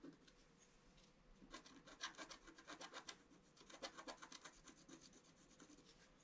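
A pointed wooden stick scratches across a flat scratch-art page, a black coating over colored paper. Quick, uneven strokes make dry, raspy scratches with a bright, high-pitched edge, growing denser after the first second and a half and easing off near the end. A faint steady low hum sits underneath.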